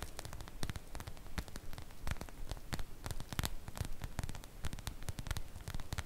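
Long nails scratch the surface of a sprinkle-print cotton fabric makeup bag, making irregular, quick, dry scratchy strokes with brief bright rasps. The strokes sit over a steady low hum and faint static hiss.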